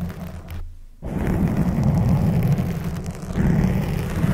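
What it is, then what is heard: Foam microphone windscreen being scratched. Long blue acrylic nails rub and scratch a black soft foam windscreen over a microphone head. The result is a dense, muffled, low rumbling scrape that dips into a brief near-silence early on, then resumes as a steady, boomy scratching texture to the end.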